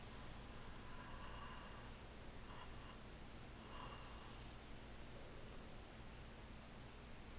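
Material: Nothing is struck.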